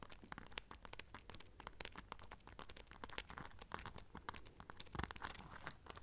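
Long nails scratch and tap across the silver studs of a small black rhinestone-studded clutch pouch. The result is a quiet, continuous stream of quick, dry clicks and scratchy ticks over a soft low rumble, each tick stopping almost instantly.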